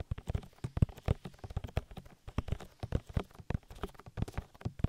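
Oily fingertips rub and squish in quick massaging strokes over the soft, hollow silicone ear of a 3Dio binaural microphone. The result is a rapid series of dull, low, wet thumps and squelches with no ring, nearly all of the energy sitting deep in the low range.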